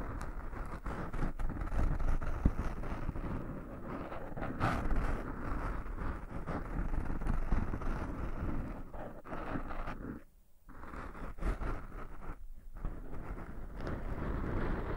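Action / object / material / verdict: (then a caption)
scrape / foam microphone windscreen / foam / none. Fingertips scratch and rub the tops of two black, soft porous foam windscreens fitted on binaural microphones. The result is a dense, low, muffled rustling and rumbling, with quick scratchy strokes and little high-end content. The sound drops out briefly around 10.5 and 12.6 seconds before resuming.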